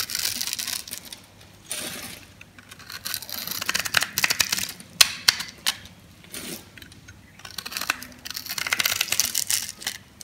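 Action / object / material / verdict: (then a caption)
scrape / soap bar cut with a blade / soap / none. A metal blade slices through a yellow, dry solid soap bar that is pre-scored in a grid and held in the palm, releasing small crunchy cubes. Bright, crisp crunching and crackling come in bursts and rasping strokes, with a few sharp snaps among them. Short quiet gaps separate the cuts.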